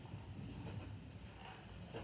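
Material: Nothing is struck.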